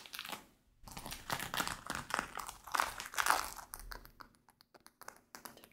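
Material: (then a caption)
Denim. Fingertips and nails scratch and tap the front waistband of worn light-wash denim shorts, making dry crinkly rasps broken by short, quick taps. Longer scratching swells in the middle give way to a run of sparse, sharp ticks near the end, with brief pauses between.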